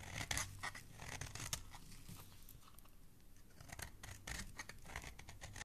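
A utility knife blade shaves and scrapes a solid, partly carved green bar of soap, peeling off long curled shavings. The clip is a run of crisp, bright scraping strokes with a dry, papery rasp over a soft low rumble, busier at the start and end and quieter in the middle.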